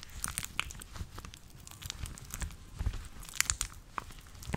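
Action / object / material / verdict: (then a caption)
scrape / dry rubber household gloves / rubber / none. A pair of long teal rubber household gloves, apparently dry with a matte surface, is worn on both hands while the palms and fingers rub and press together. This makes squeaky, crinkly rubber friction with quick bright crackles and squeaks over a soft low rumble.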